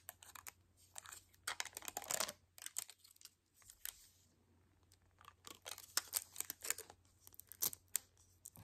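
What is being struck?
Plastic toy capsule ball.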